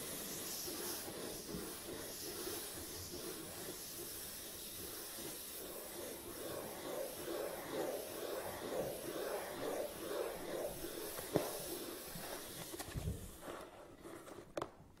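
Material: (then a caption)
Cardboard. Fingertips rub and scratch the top of a long, hollow cardboard tripod box resting on a table. The result is a steady, breathy hiss with a rhythmic scratching texture and a hollow midrange body. Near the end, the hands grip the box by its sides and the sound thins out, ending with a couple of faint knocks.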